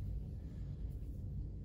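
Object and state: Nothing is struck.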